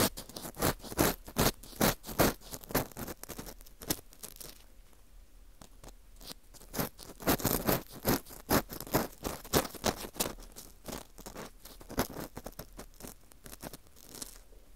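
An orange plastic earpick scrapes around inside the center hole of a dry, porous slice of wheat gluten fu held in a gloved hand. Quick, uneven crunchy scrapes and scratches come in bursts with brief quieter stretches between them. Each stroke gives a sharp, bright, dry crackle that dies away almost at once.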